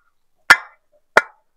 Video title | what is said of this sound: మంచి ఇటుక ఎలా గుర్తించాలి--ఇటుక నాణ్యత చెక్ చేసే ఈజీ ట్రిక్స్--How to Identify a Good Brick?#home | మంచి metal sound వస్తుంది వింటున్నారు కదా ఇలా సౌండ్ అయితే ఇలా రావాలి